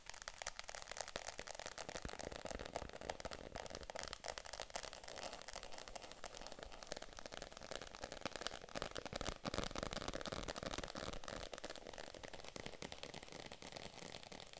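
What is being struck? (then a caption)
Faux leather handbag. A small pink faux (vegan) leather handbag is turned over in the hands while long nails tap and scratch its leather body and handles. The result is a dense, steady stream of soft, quick tapping and scratchy rustling, dry with no ring, and mid-pitched with a bright crinkly edge.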